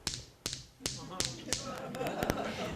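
A sandstone grinding stone (mano) is tapped repeatedly, giving short, dry clicks with bright upper content and a brief ring that quickly dies away. The sound is audible but not a musical note, because the sandstone is not dense enough to ring.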